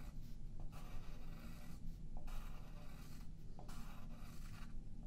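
A yellow graphite pencil rubs and scratches shading lines across a thin sheet of white paper held flat by the left hand on a wooden table. The result is repeated bursts of dry, papery scratching in back-and-forth strokes with short pauses between them, over a steady low rumble.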